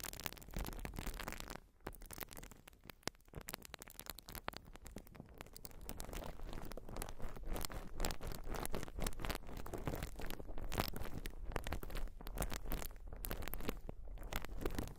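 A white open-cell urethane foam sponge is scratched and squeezed with long nails, making a dense, continuous crackling and scratchy rustle across the whole range. The sound briefly softens near the start, then builds to a steadier, louder crinkling for the rest of the clip.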